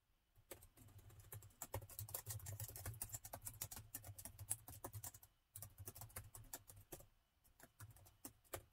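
Fingertips of both hands type on the plastic keys of a laptop keyboard, producing quick, bright, clicky key taps in uneven bursts. There is a brief pause near the middle and a slower, sparser stretch toward the end, all over a steady low hum.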